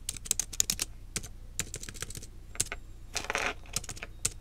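Fingertips with long nails from both hands type on a small black plastic wireless keyboard lying on a desk. Quick, bright clicking taps come in uneven bursts, with a short rustling scrape in the middle, over a faint low hum. Each key tap stops dead with no ring.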